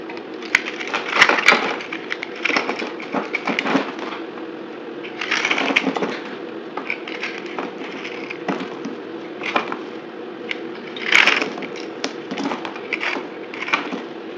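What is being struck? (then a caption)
Bar soap cut with a blade. A dry, solid white bar of soap with a blue outer layer, held in the hand, is cut and scraped with a utility knife blade. Brittle flakes chip off in a steady run of short, dry, crackling scrapes and snaps with a bright, crisp edge. Louder bursts of crunching rise over a constant low hum.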